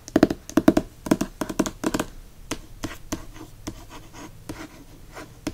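Fingernails scratch and tap the matte paper dust jacket of a hardcover book held in the hand. Dense clusters of quick, dry, midrange taps come in the first two seconds, then thin into sparser taps and soft scratching.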